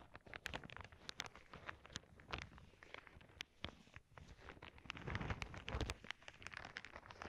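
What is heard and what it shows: Long nails poke, tap and scratch the surface of a clear plastic zip bag full of small clear beads. Quick, crisp ticks and crinkly scratches overlap with soft rattling and shifting of the beads inside. The sound stays quiet and busy throughout, with a few fuller, louder presses toward the end.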